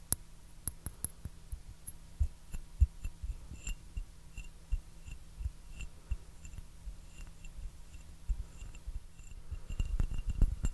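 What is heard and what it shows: An empty, hollow white porcelain teacup with blue flowers is held upside down and tapped with fingertips and nails. It makes a string of soft, irregular taps and sharp, bright clicks over a steady low hum. The tapping grows busier and louder toward the end.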